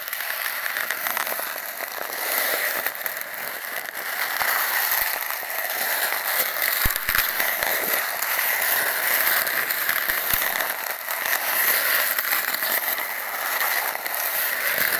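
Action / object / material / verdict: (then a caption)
scrape / cardboard tube and steel wool scrubber / cardboard / none. A stainless steel wool scrubber is scratched and crumpled by hand against an empty, hollow cardboard toilet-paper tube that is taped down. The result is a steady, dense, bright crackling rasp with almost no low end, gently swelling and easing in loudness. A few sharper clicks stand out around the middle of the clip.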